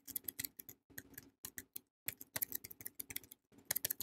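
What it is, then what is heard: Paper-wrapped soap bar. A palm-sized, solid Savannah soap bar in a yellow printed paper wrapper is held and tapped with long painted nails. The result is a flurry of quick, dry, bright clicks and crinkly paper taps in uneven bursts, with short pauses between them and almost no ring or low end.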